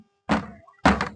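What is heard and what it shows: A cheap plastic bucket is pounded against something at home to show how sturdy it is; it had already been stood and jumped on by someone weighing over 40 kilos. Two dull, hollow thunks sound with a low body and a short ring. The bucket does not crack or break.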